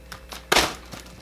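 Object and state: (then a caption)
Heavy bead-filled weighted sleep mask. A heavy weighted sleep mask filled with beads is dropped onto a table, landing with one loud, short thud that has a bright, crackly top and dies away quickly. Fainter soft taps come before and after it.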